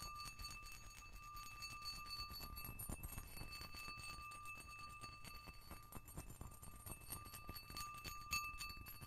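A round, clear, patterned cut-glass dish or ashtray is held in one hand while the nails and fingertips of the other hand tap its rim and surface. Quick, irregular ringing clinks sound over a low background rumble, with steady glassy tones around 1.2 kHz and 2.6 kHz and bright upper overtones that fade in about half a second.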